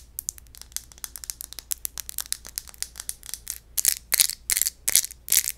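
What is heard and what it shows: The textured surface of an empty glass wine bottle is scratched, giving a crunchy, grinding sound. A quick, irregular run of short, bright scratches builds into louder, longer grinding strokes near the end, with almost no low end.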